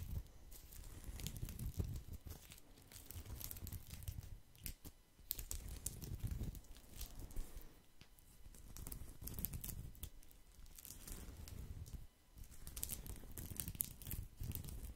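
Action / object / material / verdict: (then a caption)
scrape / woven straw placemat / straw / none. A round woven straw placemat, held up by hand, is scratched with fingertips, partly hidden behind the microphone. The scratching comes as continuous dry, crinkly rustling with a soft low rumble and bright hiss, in quiet stretches broken by short pauses.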